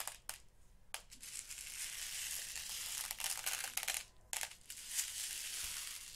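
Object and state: Plastic box of glass seed beads being sifted.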